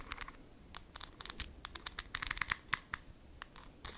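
Long nails scratch the white plastic lid and glass sides of a small, full glass jar held in the hands. The result is a quiet, rapid series of short, dry scratches and ticks with a bright edge and a faint glassy ring, each dying away almost at once.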